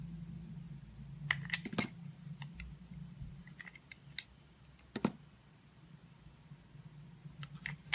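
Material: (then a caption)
Soap. A red utility knife with a metal blade slices pieces off a solid white embossed soap bar held in a palm with pink nails. Short, bright, crisp clicks and snaps come in scattered bursts, each cut dying away almost instantly over a faint low hum.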